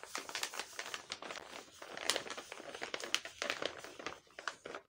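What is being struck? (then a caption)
Tape-covered paper bag. Fingertips and long painted nails press, rub and squeeze a large, flat, sealed paper bag printed with Hello Kitty, covered in clear tape and stuffed with small paper packets. The result is a dense, bright crinkling and crackling with no low end, made of many quick, short bursts of uneven loudness.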